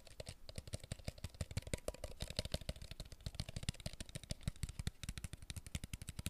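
Fingertips tap quickly on a hollow, clear plastic water bottle with a blue label held close to the microphone. About 49 rapid, short hits follow one another, each a dull, low, hollow thump with a bright clicky edge that dies away almost instantly.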